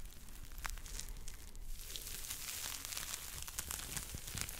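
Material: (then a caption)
Foam. A yellow and pink smiley-face foam scrub sponge is squeezed in a fist and scratched with fingertips close to the microphone. It makes a steady, dense crackling and crinkling texture with bright, hissy scratches over a soft low rumble.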